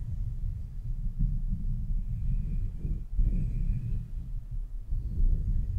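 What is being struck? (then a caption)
Metal mesh microphone grille. Long nails and fingertips scratch and tap a rounded, hollow metal mesh microphone grille. The result is a steady, muffled low rumble of dense scratching and soft thumping, with brief quieter gaps and a faint thin tone above it.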